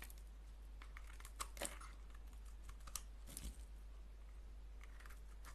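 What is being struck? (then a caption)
Bar of soap cut with a blade. A solid oval green soap bar held in the palm is carved with a blade, producing a series of soft, crisp scraping and crunching cuts. The bursts are short and bright with little ring, sitting over a steady low hum.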